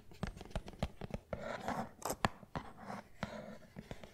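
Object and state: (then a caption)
Cardboard tea box. A small, hollow rectangular printed cardboard box of Salus herbal tea is held in one hand and tapped and scratched with fingertips and fingernails. Short, dry taps with a low body sound over a soft, papery scratching that swells in the middle of the clip. The hits die away almost instantly with no ring.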